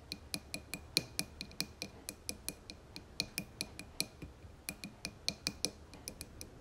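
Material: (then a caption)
Glass. Long fingernails on both hands tap the sides of a dark blue embossed glass candle jar filled with wax. About 29 quick, bright clicks come in a steady, slightly uneven rhythm, each with a faint high glassy ping that dies away almost at once.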